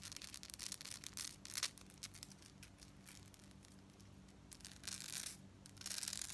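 A gold-tone metal beaded necklace section with a chain fringe is held close while long nails scratch and tap across the beads. The result is a fast run of bright, crisp metallic ticks and rasping scratches, with a faint low hum underneath.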